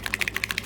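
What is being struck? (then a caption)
Plastic paint bottle with an internal mixing agitator. A plastic paint bottle with an internal mixing agitator is shaken vigorously so the agitator mixes the contents, since the paint must be properly mixed before it works. A rapid, even series of short, bright clicks is heard as the agitator strikes inside the bottle.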